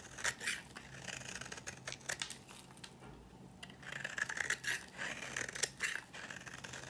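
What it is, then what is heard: Dry bar soap being cut and scraped. A dry green bar of solid soap, held in the fingers, is cut and scraped with a metal blade into flaky shavings. Quick, dry scratchy strokes come in bursts with a bright, crisp crunch and almost no ring. A brief quieter gap falls midway before the scraping picks up again.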